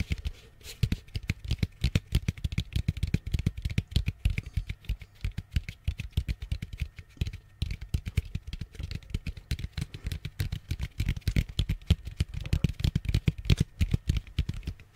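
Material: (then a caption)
Plastic. An orange, hollow plastic Halloween jack-o'-lantern bucket, about head-sized, is held close to the mic and tapped rapidly with long fingernails and fingertips on its outer wall. The result is a fast, uneven patter of short, dry taps, with deep hollow thumps and sharp bright nail clicks that die away almost instantly.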